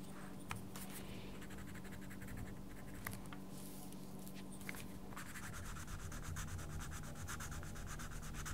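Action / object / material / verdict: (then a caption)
scrape / wooden coloured pencil on a paper colouring book page / paper / none. A wooden coloured pencil is rubbed firmly back and forth over the page of a small paper colouring book lying flat on a table, making a soft, sanding-like scratch over a steady low hum. A few sharp ticks stand out early on, and after about five seconds the strokes turn faster and denser with a brighter, grainier rasp.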